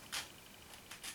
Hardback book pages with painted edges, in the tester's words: vous entendez que ça craque, parce que à cause du noir, ça n'a pas été super bien fait je pense